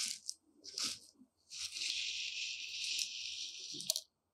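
Long decorated nails and fingertips dig into and scratch through loose, dry, uncooked white rice grains in a shallow dark tray. A few short, bright crunchy rustles come first, then a long, steady, hissing scratch through the grains. It ends in a sharp tick and cuts to silence.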